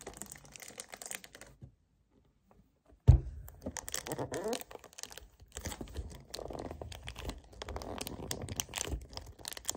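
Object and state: Plastic kefir jug.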